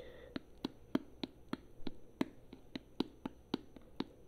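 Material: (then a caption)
Plastic. A tall plastic conditioner bottle, held up near the face, is tapped with long nails along its side and cap. About fifteen quick, dry taps land at a steady pace, each a short hollow click with a low body around 266 Hz that dies away almost instantly. A faint hiss sits underneath throughout.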